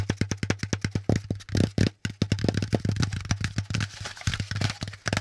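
A folded, hollow brown corrugated cardboard packaging insert is held upright and tapped rapidly with the fingertips. It gives a fast run of about 28 short, hollow, low thumps with a bright papery tick on each tap, with a brief pause near the two-second mark. Each tap dies away almost at once.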